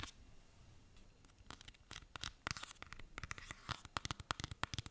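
A small pink soft plastic hand cream tube, held in the hands, is tapped and scratched with fingernails. A faint scratchy rustle gives way to crisp, bright ticks and scrapes that grow faster and louder toward the end, each one clipped short with almost no ring.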